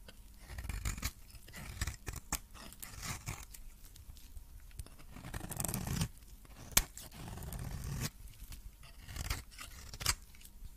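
A metal blade scrapes and cuts a cream solid soap bar with remains of blue coating, shaving it into powdery flakes. Short dry scraping strokes and crisp cutting clicks repeat throughout with a low rumble and bright crackle, punctuated by a few sharper snaps.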